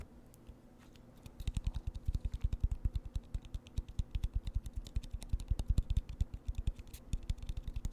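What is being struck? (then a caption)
Plastic ketchup bottle, half full. A sweaty, half-empty plastic ketchup bottle is tapped in a rapid, steady run of short, dull taps after a quiet first second. The dense ketchup inside makes the tapping thumpy and low rather than hollow.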